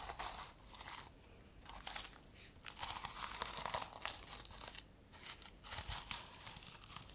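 A reversible plastic sequin-covered notebook is turned in the hands while long nails scratch and flip the plastic sequins on its fabric cover. The result is a quiet, bright, crinkly rustle of quick clicks and scratchy swishes that rise and fall in bursts with short pauses between them.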